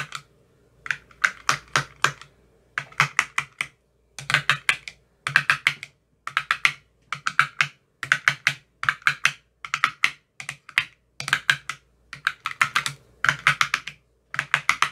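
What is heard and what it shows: A thin metal rod taps rapidly into the cells of an empty clear plastic ice cube tray with green silicone cell bottoms. The taps come in quick bursts separated by short silences. Each one is a crisp, bright click that stops almost at once, with a hollow plastic tone around 1.6 kHz.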